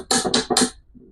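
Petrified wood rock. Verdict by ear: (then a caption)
Stone. A heavy, freshly washed rock with a wood-like texture is knocked three times, giving sharp, bright clacks with a short ring and a faint low tail after the last one. It sounds like stone rather than wood, marking it as petrified wood or possibly a space rock.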